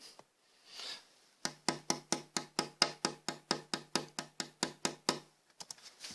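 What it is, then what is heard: Cedar violin plate tap tone. A carved cedar violin top plate is tapped in a quick, steady series of sharp, short knocks. Each tap rings briefly, with a sustained low tone near 151 Hz (mode 2) and bright upper resonances, and mode 5 is split into peaks at 354 and 341 Hz. These tap-tone peaks are used to tune the plate's stiffness during carving.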